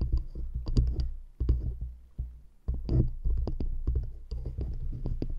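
Long acrylic nails rapidly tap and scratch two stacked, solid, light wooden rings fitted around a microphone grille. The result is a quick run of dull, bass-heavy knocks and thumps with faint bright clicky edges. Each one dies away almost instantly, with brief scratchy rustles between the taps.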